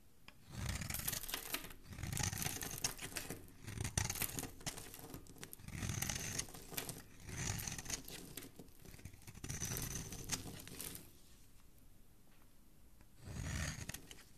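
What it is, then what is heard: Bar of soap being shaved. A flat metal blade scrapes and shaves the surface of a solid, palm-sized, pale-yellow bar of soap held in one hand, sending soap flakes off. Bursts of crisp, gritty scraping with bright crackle and a low rub come in repeated strokes, pausing briefly before a final pass.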